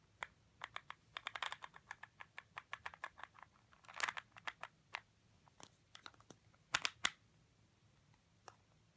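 Painted fingernails tap and click on a hand-sized clear plastic vitamin bottle with a paper label and a yellow screw cap, apparently holding pills. It is held in both hands and tapped on both the body and the cap, and the cap may be twisted. The result is a quiet, irregular run of sharp, dry, bright clicks with no ring, including a few denser bursts.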